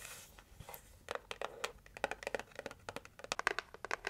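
Long nails tap quickly on a red heart-shaped cardboard gift box as it is turned between its printed lid and its plain red side. After a soft, scratchy rustle at the start, about twenty short, dry, bright clicks follow in an uneven run, each stopping at once with no ring.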